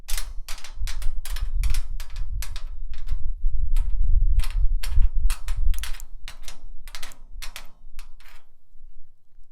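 A rusty steel drum is tapped and scratched with a nail worn on a finger. Quick, irregular, sharp bright taps ring out over a low, rough scraping rumble, with a brief pause partway through. The taps thin out and the scratching grows quieter toward the end.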